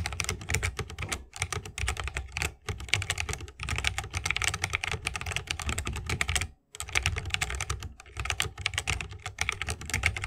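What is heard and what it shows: A 60% mechanical keyboard with plastic keycaps and tactile switches, set in a bamboo wooden case, is typed on continuously with the fingertips of both hands. Dense, rapid clacky keystrokes carry a deep thock and bright clicks, broken by a few brief pauses.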